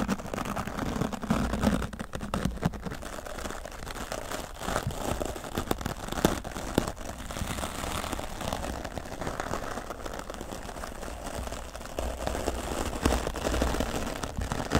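A grey foam microphone windscreen is brushed side to side with a wooden-backed bristle dry brush while the other hand steadies the foam. The result is a continuous scratchy, crackling rustle over a heavy low rumble, with soft swells and fades in intensity but no distinct separate strokes.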